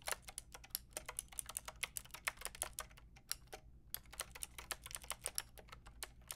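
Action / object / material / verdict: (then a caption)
tap / mechanical keyboard with round plastic keycaps / plastic / none. Fingertips and long nails type on a full pink, grey and white mechanical keyboard with round plastic keycaps. A fast, steady run of short, bright, clicky keystrokes is heard at a quiet level, with a brief pause near the middle and a faint low hum underneath.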